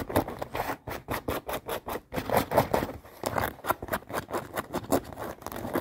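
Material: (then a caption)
Denim. Long painted nails scratch and tap quickly on folded, light acid-wash denim jeans with stitched seams, lying close by. Rapid, rhythmic bursts of dry, rough fabric scratching blend with soft taps, each stroke cut off short with almost no ring.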